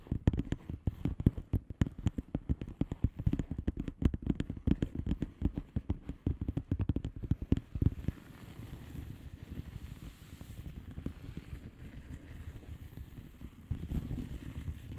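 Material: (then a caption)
Plastic. Long manicured nails of both hands tap and scratch a flat blue plastic bubble wrap mailer envelope with air-filled bubbles. For about eight seconds the nails make rapid, dense, dull tapping clicks. After that, a softer, steady scratching rustle takes over, with low, muffled body throughout.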